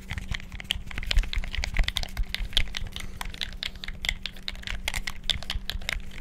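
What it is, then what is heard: Plastic game controller buttons being mashed. Fingertips rapidly mash the buttons and move the sticks of a black, hollow plastic gamepad. The result is a dense, irregular stream of sharp plastic clicks and taps that peak high and bright. A low hum sits underneath.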